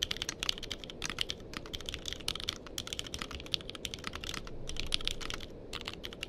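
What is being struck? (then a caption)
Mechanical keyboard with plastic keycaps. A compact purple-cased mechanical keyboard with cream and purple plastic keycaps, resting on a blanket, is typed on steadily with the fingertips of both hands. A rapid, continuous stream of short, dry, bright clicks and clacks peaks around 3.2 kHz, with a soft, low thud under each keystroke. The keystrokes vary slightly in loudness and die away almost instantly, with no ringing.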